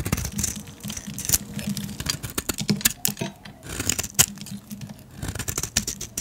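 A painted, solid yellow soap bar held in the hand is shaved with a metal blade, giving a run of crisp, bright scraping and crackling strokes. Short pauses fall between the strokes as the blade is briefly lifted away.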